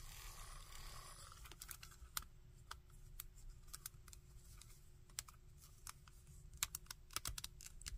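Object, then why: Small hard plastic action figure. A small hard plastic Shocker action figure is held in both hands while fingertips grip and rotate its arms and gauntlets. Sharp, bright taps and joint clicks come at an irregular pace over a low rumbling background, after a brief rustling hiss at the start.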